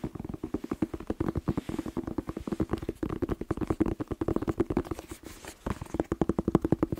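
A whole fresh red bell pepper, hollow inside, is tapped rapidly with fingertips close to the microphone. Dense, quick, hollow-sounding taps with a woody, mid-low tone run almost continuously, briefly thinning out just before the end before resuming.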